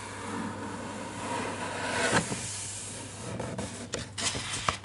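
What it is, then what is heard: Paper picture book page being rubbed. Fingertips slowly trace and rub over the illustrated paper page of a large open hardcover children's picture book on a desk. A steady, soft papery hiss swells and fades, with a few sharper scratchy brushes and light ticks of skin on paper near the end.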